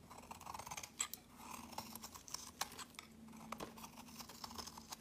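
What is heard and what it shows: A metal blade shaves thick, crumbly flakes off the edge of a solid peach soap bar held in the hand, with repeated strokes. Soft, dry scraping and crumbling is broken by sharp, bright crackles and quick clicks that die away almost at once, with little low end.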